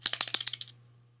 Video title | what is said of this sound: Shake It Like A Bottle of Test Strips | the shaking of a bottle of test strips